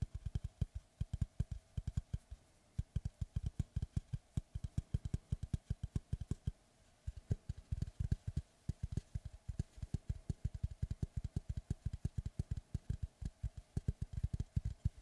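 Fingertips tap and scratch the flat face of a large, solid, round slice of natural wood with a bark edge, held upright in front of a microphone with both hands. A fast, steady run of short, dull, low knocks with almost no ring continues throughout, with brief pauses near 2.5 and 6.5 seconds.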